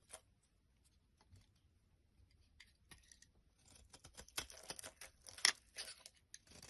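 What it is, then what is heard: Bar soap being carved. A blade carves flakes from the end of a solid, rectangular, pale-yellow bar of soap held in the hand. Quiet, dry, crisp scraping and crackling cuts sound bright and high with almost no low end. They start sparse and grow denser and louder toward the end.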